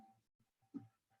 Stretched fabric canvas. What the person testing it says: the canvas can get tight when you thump it it sounds like a drum and that's the sound that you want